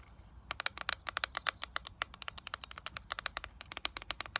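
Long nails tap and scratch the clear plastic lid of a small, flat eyeshadow palette with a gold plastic frame, held in the hands. About 35 short, bright, dry clicks come in a quick, uneven run. A faint low rumble sits underneath.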